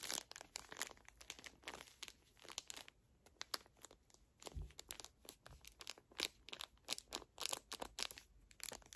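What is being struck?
Pocket tissue pack in thin plastic film.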